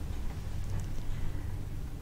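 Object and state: Nothing is struck.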